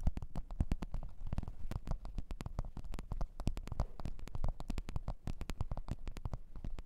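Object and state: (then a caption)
Leather microphone case. Long orange-red nails tap and scratch a black leather (likely faux) microphone case resting on white fur. The result is a dense stream of quick, dull, low thuds with short bright clicks and brief scratchy rubs between them.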